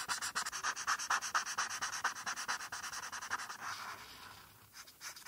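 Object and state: Marker coloring on paper.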